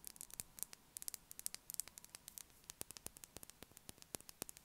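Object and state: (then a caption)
Bar of soap. A solid blue, unwrapped Dettol soap bar about the size of a palm is held in hand and placed on the table, then tapped with long acrylic nails. About thirty quick, dry, bright clicks come in an irregular run, each dying almost instantly over a faint, steady hiss.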